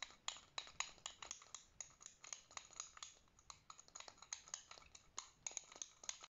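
A white plastic fidget spinner with metal bearing rings is held between thumb and finger while the other fingers flick and tap it to spin. The result is a quick, irregular run of dry, bright clicks and taps, with a faint metallic rattle under them. Each sound is short and stops almost at once, with very little low end.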